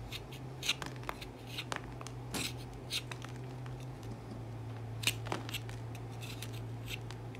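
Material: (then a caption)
Soap. A wooden-handled tool with a serrated metal edge scrapes across the surface of a solid, cream-colored, hand-sized Dettol bar soap held in the hand, raising shavings. Short, crisp, bright scratching strokes repeat irregularly over a steady low hum, each dying away almost at once.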